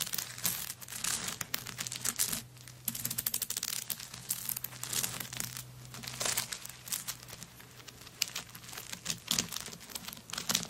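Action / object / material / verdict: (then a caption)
scrape / handbag covered in coconut shell chips / coconut shell / none. Long nails scratch across a handbag covered in coconut shell chips lying flat. The result is a dense, bright, crackling scrape made of many quick dry clicks that swell and fade in bursts, over a faint steady low hum.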